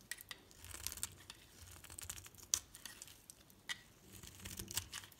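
A metal blade cuts and scrapes layered shavings off a solid green bar of soap with pink edges, held in the hand. Quiet, bright, crisp scraping and crinkling fills the clip, broken by sharp, dry clicks that stop instantly without ringing.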